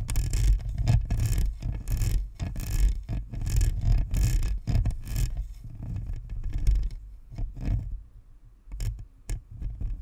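Long fingernails scratch the perforated front grille of a hollow, white spherical Blue Snowball plastic USB microphone while the other hand rests on its side. Irregular, raspy scratching bursts are heard, bright and hissy on top with a deep low rumble beneath. The scratching grows sparser and quieter toward the end.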